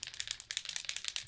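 A spray foundation can in the shade Organza is shaken before use, and the small mixing bead inside rattles against the metal. About eleven quick, dry, bright clicks are heard in a steady rhythm, with almost no low end and no ring after each hit.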